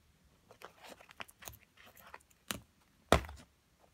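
A small metal carving pick chips and scrapes a solid white plaster block from a crystal excavation kit, held steady by long-nailed fingers as it sits on a pile of plaster chips. Short, dry, gritty scratches and crunches come in quick bursts, ending in one louder, sharper crack with a brief crumbly tail.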